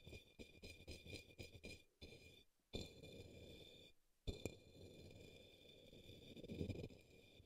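A paintbrush taps and brushes the base of an upside-down, hollow, empty turquoise opaque plastic cup or small bowl resting on a green towel. A quick run of light, dull taps comes first, then longer soft scratchy brushing strokes, each starting with a sharper tap. A faint steady bright tone hums underneath throughout.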